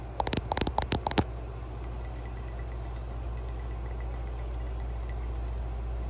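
A matte green ceramic mug lies on its side with the handle down while long blue nails tap rapidly on its curved side. A quick burst of bright, short clicking taps lasts about a second, then gives way to a steady low hum with faint scattered ticks.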